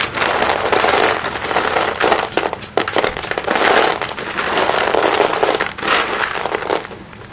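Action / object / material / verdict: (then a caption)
scrape / small pieces of chalk in a plastic basin / chalk / none. Hands dig into a pile of small, solid white chalk pieces in a green plastic basin, rubbing and crushing them together. The result is a dense, continuous gritty crackling and crunching, with bright surging bursts and almost no low end, that thins out and fades near the end.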